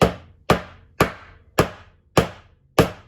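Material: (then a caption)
Metal. A metal fret seated in the wooden fretboard of a Martin DX1AE acoustic guitar is tapped with a hammer six times to check whether it is seated. Each tap is a sharp, short knock that decays quickly. The fret sounds solid, though one fret end is slightly loose, but not enough to reglue.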